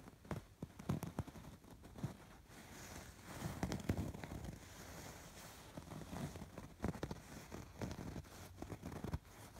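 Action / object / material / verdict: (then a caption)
scrape / stuffed fabric pillow with raised embroidery / fabric / none. Fingertips and nails scratch along the stitched rows of raised embroidery on a soft, stuffed fabric pillow. The sound is a steady run of quiet, crackling, rustling strokes with a soft, low-heavy body and bursts of brighter scratching.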